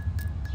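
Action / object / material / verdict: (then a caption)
flick / petrified wood / petrified wood / silicified. A piece of fully silicified petrified wood is flicked with a fingernail, producing a thin, glassy, chime-like ring that holds a steady tone near 1.7 kHz with brief bright clicks at each flick. The ringing sits over a louder, steady low rumble, showing that even a light fingernail tap makes the stone sound.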